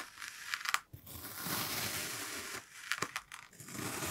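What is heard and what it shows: A steel kitchen knife presses down and slices through a solid, hand-sized brown kinetic sand block shaped like a cat face with yellow sand eyes, resting on a white surface, in repeated parallel cuts. Each cut gives a bright, gritty crunch and scrape through the packed sand, with about six sharper crunches standing out. Between them is a steady hiss-like rasp, with little low end and almost no ring.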